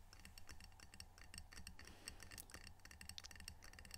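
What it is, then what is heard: Ceramic tile coaster. A small, solid, square glazed ceramic coaster printed "Edmonds Washington" is held in the hands and tapped quickly with long fingernails. It gives off a rapid, quiet stream of short, bright clicks that die away almost instantly, over a low steady hum.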